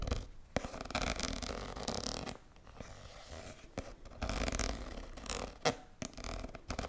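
A hand-sized red soft plastic squeeze tube with a white cap, hollow and apparently filled with cream, is held in both hands and scratched and tapped with long nails. Continuous bright, crackly scratching with a soft low rumble rises and falls in bursts, punctuated by a few sharp, dry taps that stop almost instantly.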